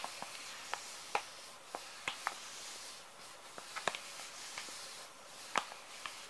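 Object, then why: Plastic-film wet wipes pouch. Fingers rub and crinkle the surface of a small, full plastic-film wet wipes pouch. Quiet, sharp, bright crackles and snaps pop out at irregular moments over a soft, steady hiss. Each one dies away almost instantly.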